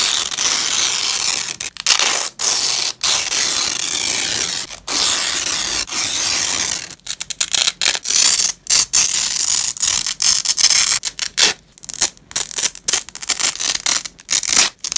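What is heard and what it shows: Black-gloved fingers pull apart fastened purple nylon hook-and-loop strips of a velcro strap on a grey cloth. Bright, crackling ripping sounds come as long, steady tears separated by brief pauses for the first half, then break into shorter, choppier bursts toward the end.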